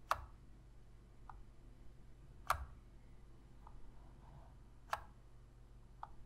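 Long pink fingernails tap the buttons and shell of a black, hollow plastic PlayStation controller. Three sharp, bright clicks stand out, with softer, duller taps between them, each dying away almost at once. The taps come at an unhurried, uneven pace over a faint low hum.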